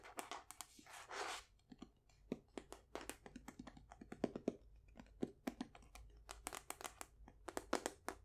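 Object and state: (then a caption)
Wooden folding chess box. Long nails tap and scratch the checkered face of a painted wooden folding chess box held upright. Quick, dry, bright taps come in a dense irregular stream, with a short scratchy rustle near the start. The sound is quiet and close, with almost no ring after each tap.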